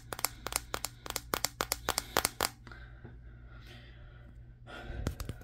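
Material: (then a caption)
Glass. Fingertips tap on the matte glass back of a Samsung Galaxy S23 phone held in the hands, giving about sixteen sharp, dry, bright clicks in a quick, uneven run with almost no ring. After a short quiet stretch of faint rustling, a brief burst of soft friction noise leads into a few final taps.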